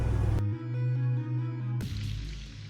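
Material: Nothing is struck.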